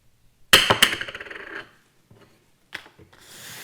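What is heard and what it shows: A thick, heavy, rigid minus 1.50 CR-39 plastic eyeglass lens is dropped or tapped, giving a bright, hollow plink followed by a rapid run of fading bouncing clicks. A second, quieter click comes about two seconds later, then a soft hiss.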